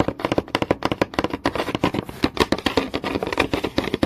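Fingertips and nails tap fast on a flat, solid wooden board with visible grain, producing about 29 quick, dry knocks. Each tap is short, with almost no ring, and centers on a woody mid-range tone around 540 Hz.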